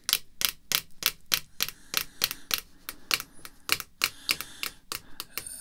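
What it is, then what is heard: Plastic card holder. Long red fingernails tap the front of a clear rigid plastic card holder containing a "Home Run" game card, lying flat on black cloth. About 22 short, crisp, bright clicks come in an uneven rhythm, each dying away almost at once, with very little low end.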